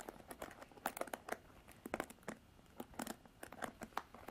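Long black nails scratch and rake across the bristles of a Revlon plastic paddle hairbrush. The result is a quick, uneven series of dry crinkly clicks and scrapes with a midrange tone around 770 Hz and bright edges, each one dying away almost at once.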